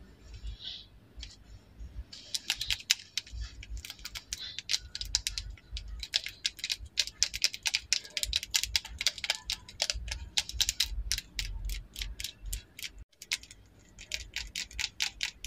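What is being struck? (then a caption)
Plastic lip liner pencil. Long decorated acrylic nails tap and scratch along the body of a small, solid, slim black plastic lip liner pencil with a red cap end, held in both hands. Rapid, bright clicking taps and short scratches come in dense bursts, with a brief pause near the end and a faint low rumble underneath.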